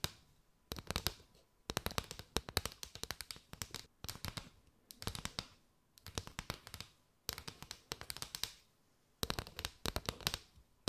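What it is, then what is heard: Paper straw mat. Long nails tap and scratch quickly along a mat of hollow, chevron-patterned paper straws curved over the mic. Dense bursts of sharp, dry clicks and scratches come in quick clusters separated by short pauses. The sound is bright and crisp, with only a little low thump.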